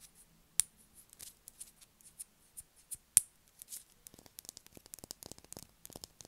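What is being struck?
Solid bar of soap.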